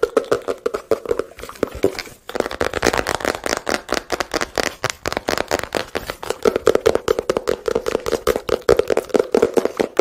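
A small, hollow blue-and-white printed cardboard product box is tapped with fingertips and handled near the microphone. A rapid, irregular series of dry, hollow taps rings with a low-mid tone around 445 Hz, with a brief pause near the two-second mark. The taps grow denser and more resonant toward the end.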